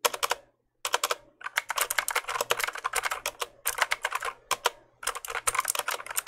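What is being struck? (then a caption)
Plastic mechanical keyboard keys. Keys on a full-size black plastic mechanical keyboard, held up near the mic, are pressed and clicked with fingertips. Quick bursts of sharp, bright, dry clicks come in rapid typing runs, with a short silent pause near the start and small gaps between runs.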